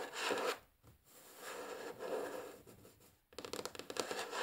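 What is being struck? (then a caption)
Wooden tabletop. Long fingernails on both hands tap and scratch across a flat, solid, light wooden tabletop in a typing-like motion. Soft, broadband scratching and rubbing swell and fade, then give way to a quick run of sharp, clicky taps at the end.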